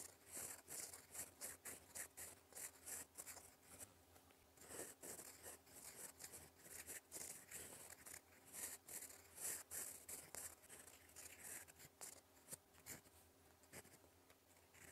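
A gold fountain pen nib writes in black ink across a flat sheet of lined cream paper, scratching along in cursive strokes. The quiet recording is a continuous run of bright, dry scratches that swell and fade with each stroke, with short pauses between words. A faint steady low hum sits underneath.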